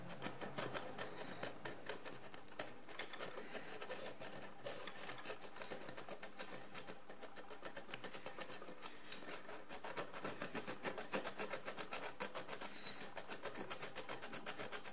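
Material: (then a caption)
Ceramic. A wooden stick scratches and scrapes a pale calcareous crust off a large encrusted ceramic jar lying on its side. Quiet, rapid, irregular scraping strokes fill the whole clip, with short dry hits and a bright, high-pitched hiss.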